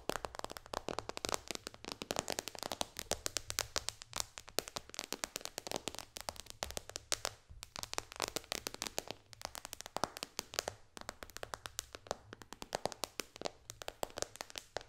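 Long dark fingernails on both hands tap rapidly across the glass front of an iPad touchscreen resting flat on a lap. The result is a dense, continuous stream of sharp, dry, bright clicks that die away almost instantly, with very little low-end body.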